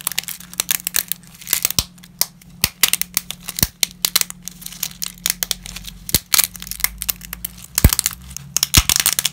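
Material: Dry pasta.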